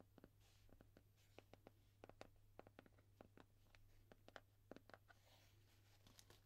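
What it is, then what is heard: Cardboard mailer box. Long dark-painted nails tap and scratch the front face of a small, flat, hollow brown cardboard mailer box with red and white labels, held upright in both hands with its contents not visible. Many quiet, short, dry taps land in an irregular rhythm, mixed with brief scratchy brushes. A steady low hum runs underneath throughout.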